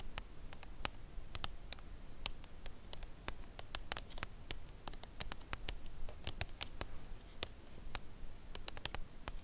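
Long nails tap slowly on the printed front of a full Lindt Creation Caramel cardboard chocolate box lying flat, face up. Each tap is a quiet, dry, bright click that stops almost at once, falling in an irregular rhythm over a steady low rumble.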